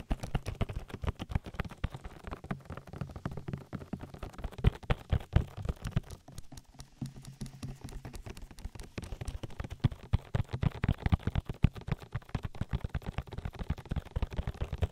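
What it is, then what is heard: Silicone microphone ear. Fingertips with long nails pat and rub an oily silicone ear on a binaural microphone. The result is a dense stream of soft, quick, low-pitched taps and wet rubbing, deep and muffled, with almost no high content and no voice.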